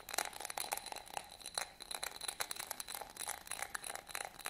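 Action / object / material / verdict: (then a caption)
scrape / small studded glass votive holder / glass / none. Fingernails scratch over a small, hollow, empty yellow studded glass votive holder held in the hands. The result is a quiet, rapid run of dry, bright scratching ticks and crinkly rasps. A faint glassy ring near 740 Hz peeks through some strokes.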